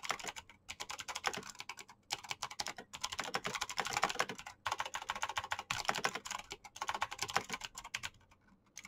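Fingertips type fast on the keycaps of a black plastic RGB mechanical keyboard, producing a dense stream of bright, sharp clicks and clacks. The rapid keystrokes come in bursts with brief pauses between them.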